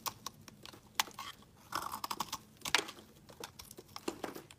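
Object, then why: Bar of soap scraped with a metal blade. A metal blade scrapes thin flakes off a solid, partly carved pale green bar of soap held in the hand. It makes a quick series of short, dry, crisp scraping and crackling strokes, bright with almost no low end, each dying away almost instantly. A few longer shaving strokes sound around the middle and near the end.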